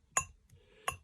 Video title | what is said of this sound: Antiques: Antique silver 5. A remarkable tea set (part one) | Dull thud? Yeah, because it's solid. It's one solid, thick, hammered, wrought ingot of a handle.